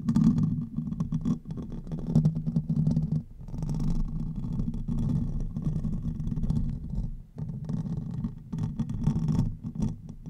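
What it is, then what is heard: Metal microphone grille being scratched. Fingertips and short nails scratch and rub the top of a silver Blue Yeti-style condenser microphone's hollow metal mesh grille, at times with the fingers spread over it. The result is a dense, continuous low rumbly friction sound, nearly all of it below about 200 Hz. It scrapes steadily throughout, with brief dips at around 3.3 and 7.3 seconds.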